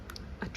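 Light, dull taps on an IKEA trash can repurposed as a plant pot, with holes added in its bottom. The taps are soft and low-pitched, centered around 180 Hz, with a brief, damped ring and a slightly stronger tap near the end.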